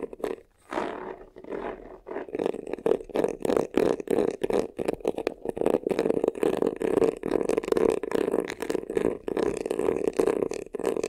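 Fingertips and nails scratch quickly across the front, near the top edge, of a hollow black crocodile-embossed faux leather vanity case. The result is a rapid run of short, rasping scrape bursts with a hollow midrange resonance. Each scrape stops dead with no ringing.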